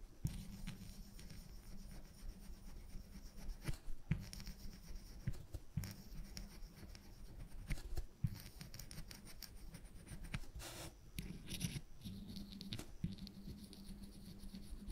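A woodburning pen's wire tip is rubbed and scratched in short strokes across a flat, thin plywood panel while shading a pipe. Soft, dry scratching and rubbing sounds repeat over a steady low hum, with a few louder scrapes standing out.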